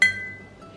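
A newer, dishwasher-safe ironstone-style dish that is not authentic ironstone is tapped once, giving a single bright, high clink with a ringing tone near 2 kHz that fades over most of a second. It sounds lighter and brighter than the dull thud of an old authentic ironstone piece.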